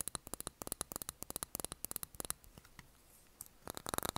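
Long nails tap and scratch a small glass candle jar filled with blue candle wax, with a cork lid on top. About 25 quick, bright clicks with almost no ring come in uneven runs. A quieter stretch of soft scratching in the middle gives way to a fast flurry of taps at the end.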